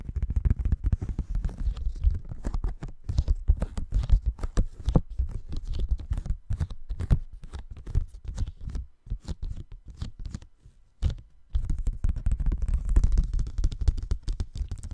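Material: Paper.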